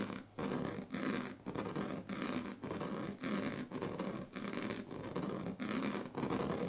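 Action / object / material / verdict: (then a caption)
scrape / woven plastic strip mat scratched with a plastic comb / plastic / none. The teeth and tail of a pink plastic comb scratch across the strips of a large, flat woven plastic sleeping mat. The result is a series of rough, raspy scraping strokes, each lasting about a second with short quiet gaps between. The scratching has a broad, bright texture over a low, grainy hum.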